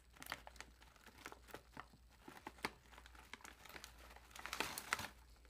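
A large, puffed, metallized plastic chip bag is held sideways while hands squeeze and crinkle the film with fingertips and nails. The result is a quiet run of sharp, bright crackles and crinkles, with louder bursts near the end, over a faint steady low hum.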